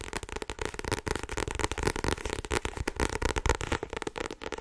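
Fingertips and long nails tap quickly on the front card cover of a solid blue paperback book held up in both hands. The sound is a dense, irregular stream of dry, crackly taps with short thuds and no ring, continuing steadily throughout.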